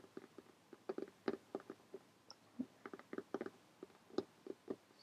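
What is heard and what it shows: Long painted fingernails of both hands tap rapidly on a closed lime green cloth hardcover notebook lying flat. About seventeen soft, dry, muffled taps land in an uneven rhythm, each stopping dead with no ring and a dull low-mid tone. The overall level stays quiet.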